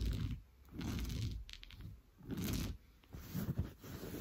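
Blue-painted nails scratch fast across an orange coarse-weave fabric sofa cushion. The result is a dull, low, rumbling scrape in several quick bursts, with a faint high hiss above it and brief quiet gaps between strokes.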